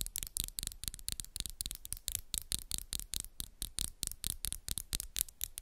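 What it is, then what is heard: Acrylic nails tapping. Long pink and black acrylic nails, small and solid, on both hands interlock and scratch and tap against each other in a fast, steady run of sharp clicks. Each tap is bright and dry with almost no ring, and light scratchy rasps fill the gaps in between.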